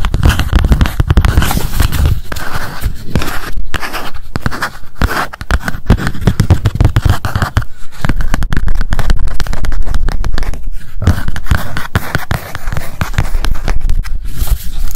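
Long nails tap rapidly on the cover of a small pink spiral memo notebook with metal wire binding and scratch along the spiral. The result is a dense, continuous stream of dull, close-up clicks and scrapes, mostly low in tone, with brief pauses between bursts.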